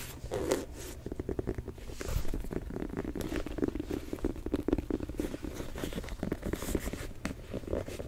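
Fingernails and fingertips tap and scratch the textured black rubber outsole, with its Jumpman logo, and the midsole of a single Jordan 4 'Thunder' sneaker turned toward the mic. The result is a steady stream of quick, dry, muffled taps and scrapes, mostly low with a dull body around 300 Hz, little brightness, and no ring.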